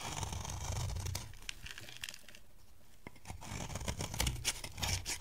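A metal box-cutter blade scrapes a dry, beige, oval bar of solid soap held in the hand, making dense, crunchy scraping and tearing sounds with a low rumble and bright crackle. The scraping is steady at first, drops to a quieter texture in the middle, then returns with sharper, irregular crackles toward the end.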